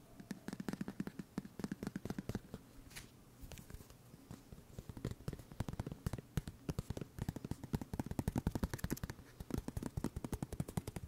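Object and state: Plastic scrub bottle.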